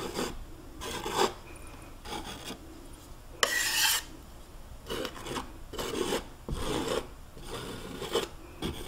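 A metal palette knife scrapes and rubs across a large flat canvas panel covered in wet oil paint, leaning against a wall, to paint a mountain. Short rasping strokes come in bursts with quiet gaps between them, one longer, brighter and louder scrape in the middle.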